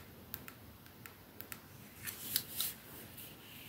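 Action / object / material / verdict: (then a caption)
tap / metal and glass perfume bottle / metal, glass / none. Long painted nails tap on a 212 perfume bottle held in the hands, striking its silver metal sleeve and its glass domed ends. Quiet, sharp, bright clicks come at an uneven, slow pace. They are followed by a few louder, hissier taps near the end, over a soft background hiss.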